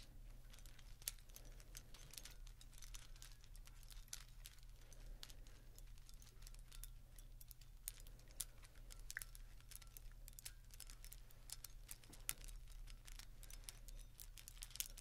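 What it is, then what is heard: Plastic string lights. A tangled strand of Christmas string lights with plastic bulbs and wire is held in both hands, rustled and shaken. It makes a dense, quiet stream of sharp, bright clicks and crinkles over a steady low hum.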